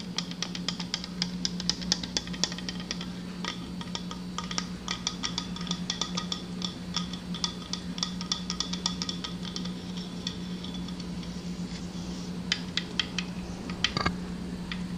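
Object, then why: Hard plastic cup. A hollow, apparently empty green translucent hard plastic souvenir cup is tapped and scratched with long dark-painted nails and fingertips. Rapid, short, dry clicks with a bright plasticky ring come in quick irregular bursts over a steady low hum, and a sharper scrape stands out near the end.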